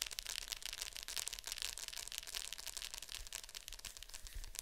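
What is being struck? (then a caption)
Plastic VHS clamshell case. Long nails tap and scratch the glossy top of a hollow plastic Fantasia VHS clamshell case lying flat. The result is a dense, quiet stream of bright, crisp clicks and scratchy rustles with very short decays and little low end, all at an uneven pace.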